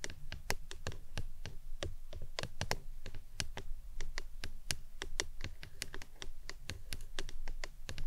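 A printed plastic lemonade tumbler cup, hollow and apparently empty, stands upside down on its green lid and is tapped with long acrylic nails. Quick, irregular taps each give a short hollow knock with a low thump and a bright clicky edge that dies away almost at once. The tapping continues steadily throughout at a soft level.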